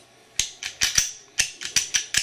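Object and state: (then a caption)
Pistol firing pin moving freely in slide. A reassembled Glock 21SF pistol with titanium parts is shaken to check that the metal firing pin moves freely back and forth in the slide, then lowered lightly. Nine short, sharp, high-pitched metallic clicks rattle out in quick uneven succession, and the pin is heard moving freely as it should.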